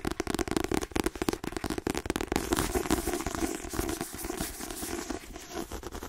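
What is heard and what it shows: Fingernails tap rapidly on the glossy card cover and spine edge of a white paperback book, which sounds solid. Sharp, dry clicks with a hollow body around 300 Hz come in quick bursts, then blur into a denser, scratchy run of tapping toward the end.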